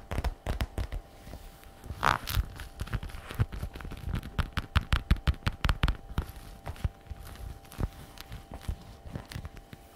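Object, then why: Patent leather bag flap. Long red nails rapidly tap and scratch the shiny flap of a glossy black patent faux-leather messenger bag resting on a wooden table. The result is a dense run of short, dry clicks and light scrapes at an irregular pace. A brief brighter scratch cuts in around the two-second mark.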